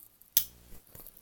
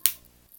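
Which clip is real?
The second.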